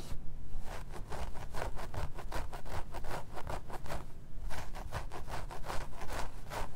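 Fingertips and short nails scratch and rake through the long black synthetic wig hair at the parting of a life-size plastic/vinyl mannequin head lying on red satin fabric. The result is a steady run of soft, dry scratching strokes with a bright, hissy texture over a low rumble.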